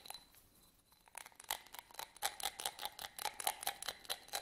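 Fingernails scratch a small, hollow, empty yellow studded glass votive candle holder held in the hands. After a quiet, sparse start, a quick run of bright, crisp scratching strokes with a faint glassy ring comes about twice per second, with no low end.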